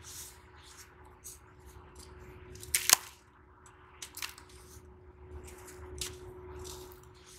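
Both hands crush and rub small, semi-hard clumps of damp brown sand between fingers and palms over a pink plastic basin full of loose sand, crumbling the solid clumps. Bright, gritty crunches and crackles come in short bursts, with the sharpest, loudest snap near the three-second mark, over a faint steady tone. The loose sand trickles softly back into the basin.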